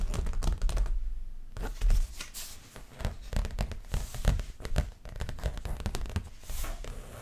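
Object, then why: Stretched canvas on a wooden frame. Long nails and fingertips scratch and tap the front of a stretched canvas print with a dreamcatcher design, about 30 cm, on a wooden frame that is hollow behind. Rapid, dense taps give dull, low thumps, with dry, bright scratching streaks between them and brief quieter pauses.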